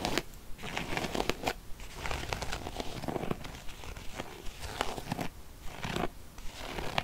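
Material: Faux leather.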